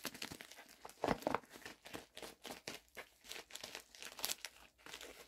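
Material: Plastic.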